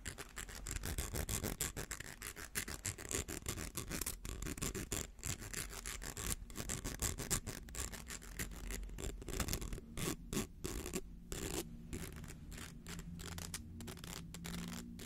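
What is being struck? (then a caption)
Plastic coil spring toy. Fingertips and nails scratch the ridged coils of a small, hollow, rainbow plastic slinky held upright. The result is a fast, uneven run of dry, bright scratching bursts over a steady low rumble. Brief gaps of quiet appear near the end.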